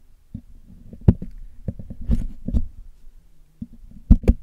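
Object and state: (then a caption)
Metal microphone mesh grille. A metal needle picks and taps at the hollow black metal mesh grille of a Blue Yeti microphone, held in the hand, as it is cleaned. A series of short, dull, low-pitched knocks and scratchy clicks is heard, a few sharper ones with a bright edge, each dying away almost at once.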